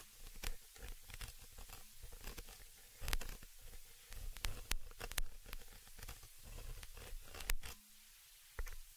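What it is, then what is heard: Metal mesh microphone grille being scratched. A thin, dark, pointed tool scratches across the round, hollow metal mesh grille on the upper capsule of a small stereo microphone. It makes dense, close-up scraping and crackling, heavy in low rumble, with sharp bright clicks throughout. The sound dips briefly near the end before one last scrape.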